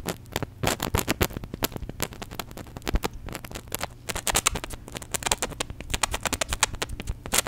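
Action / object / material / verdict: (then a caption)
shake / small plastic bottle partly filled with liquid / plastic / none. Gloved hands squeeze and shake a small, white, hollow plastic contact lens solution bottle with a flip cap, partly full of liquid, close to the mic. The result is a dense stream of rapid, sharp crackling clicks and pops that are bright and dry, with a steady low hum underneath.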